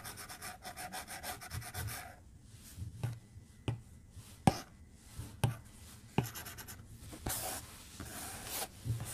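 A white plastic stylus tip strokes the glass screen of a tablet lying flat on a desk while drawing. First comes a quick run of rhythmic, scratchy strokes, then the sound thins to scattered sharp taps and short rubbing swipes against the glass, with soft low thuds underneath.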